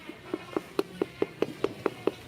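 A loose steel motorcycle steering head bearing is knocked repeatedly while the front end is supported from below to keep it balanced. It gives a steady, evenly spaced series of short, dry clunking knocks centred around 400 Hz, each with a brief bright click and almost no ring. The clunk shows the steering is loose.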